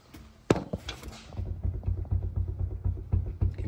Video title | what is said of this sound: Cheap FG Falcon XR6. Buy, Fix, & Sell. Pt 2 | this will give you like a metallic knocking sound when you're driving